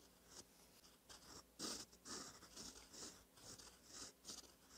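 A gold metal fountain pen nib, held by the fingertips, scratches over a thin cream lined notebook page while writing cursive. The sound is a series of short, bright, dry scratchy strokes, nine apart in loudness, at an uneven pace, quiet and mostly high in tone.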